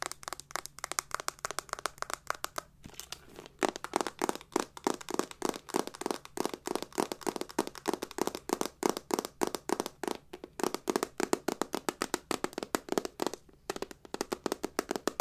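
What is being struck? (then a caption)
Hard-shell metal clutch purse. A hollow hard-shell silver metal clutch purse with a chain strap is tapped with long nails on its faces and edges. The result is a steady stream of quick, dry clicks and taps with a faint hollow ring around the mid-range, each one dying away almost instantly.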